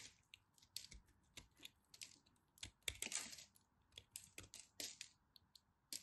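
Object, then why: Piece of cream soap. A small, crumbly chunk of cream-coloured dry soap is held between the fingers while a knife tip carves it into crumbs. The result is a quiet, irregular series of sharp, bright crackles and crisp snaps, each dying away almost at once, with a denser burst of crumbling midway through.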